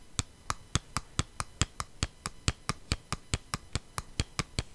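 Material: Cardboard.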